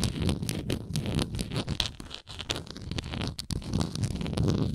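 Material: Plastic.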